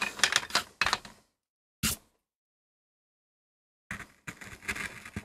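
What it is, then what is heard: MDF board being carved. A metal gouge carves and scrapes the surface of a small, flat, solid MDF board in short strokes. It makes bright, dry, scratchy bursts with a long silent pause in the middle. The cutting then resumes in a quicker run of strokes.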